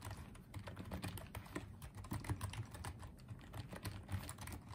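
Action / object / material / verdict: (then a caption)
tap / plastic wireless keyboard / plastic / none. Fingertips type and tap on the keys of a small pink and white plastic Apeach wireless keyboard. A fast, uneven stream of soft, dull clicks and light thuds continues throughout, each tap dying away almost instantly.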